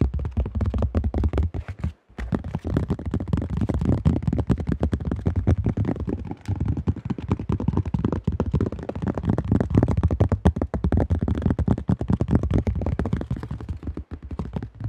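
Fast fingertips tap across the top and rim of a cream-colored plastic disc golf disc stamped AGL, its thin shell giving dull, hollow, low-heavy knocks. The taps run in a dense, continuous patter, with short breaks near 2 and 14 seconds.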